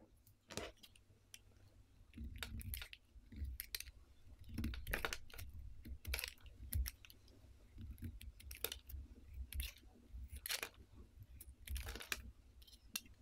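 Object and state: Soap bar being carved.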